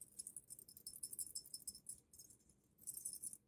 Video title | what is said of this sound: very rare WWII COMPASS or relic found in upstate NY FIREPIT? | When you shake it, something rattles inside.